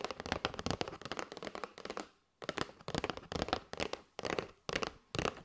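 A flat kraft cardboard box with a clear plastic window showing paper straws is held and tapped with long white nails. Quick, dry, papery clicks come in rapid bursts, with a short silence near the middle before the tapping resumes in separate flurries.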